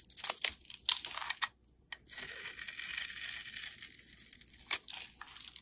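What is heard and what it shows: A solid, rectangular black soap bar held in the hand is scored and scraped with a metal utility blade, crumbling off bits. Sharp, bright scratching and crisp crumbly scrapes come in short bursts and a longer steady drag, with no low end and almost no ring after each stroke.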